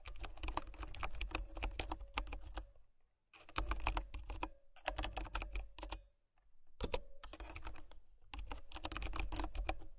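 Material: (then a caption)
Plastic. A white plastic mechanical keyboard with brown switches is typed on with fingertips and nails, producing rapid runs of sharp, clacky keystrokes with a low thud beneath each press. The typing comes in bursts separated by brief silent pauses.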